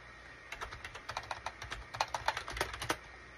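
Fingertips type on a full-size gray and cream SHIPADOO K600 wired USB keyboard with a hollow plastic case, resting on a desk mat. About 19 quick, irregular keystrokes give short, dry plastic clacks with bright clicks and almost no ring. The typing runs from about half a second to nearly three seconds, then stops.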